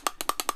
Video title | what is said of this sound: BMW E39 E46 E53 Rough Cold Start Misfire Common Causes For M52 M54 Engines | you should be able to shake it and hear that rattle if you cannot hear that rattle inside there it is stuck